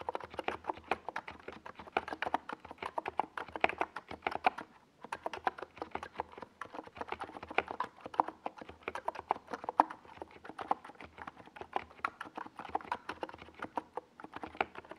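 Fingertips type continuously on a small NiZ Plum Atom 68 mechanical keyboard with a white plastic case and purple and yellow Domikey Gas Attack plastic SA keycaps, resting on a desk pad. A steady stream of quick, clacky keystrokes with a mid-pitched, hollow plastic tone and very short decay is heard, with a brief pause near five seconds before the typing resumes.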